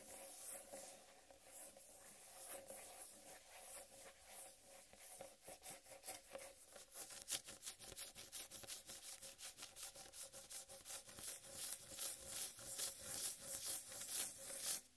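Fingertips and nails slowly rub and scratch the smooth rind of a large, solid, whole watermelon. The result is a quiet, dry, bright scratching made of many short, uneven strokes, with a faint steady tone in the low midrange underneath.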